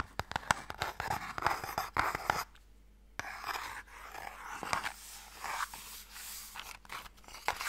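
A small, closed, pale wooden Mikado box, hollow and holding sticks, is turned in the hands while fingernails tap and scratch its sides and ends. Quick, dry, clicky taps mix with soft, bright scratching and rustling. There is a brief near-silent pause partway through before the scratching and tapping resume.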